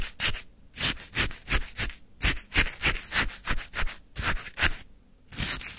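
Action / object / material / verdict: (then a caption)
scrape / frozen lemon sherbet in a paper cup, scraped with a wooden stick / ice / none. A wooden stick stirs and scrapes icy frozen lemon sherbet in a white paper cup. A quick, uneven run of short, gritty scrapes and crunches comes through with bright, hissy texture and a low thud under each stroke, with brief quiet gaps between bursts.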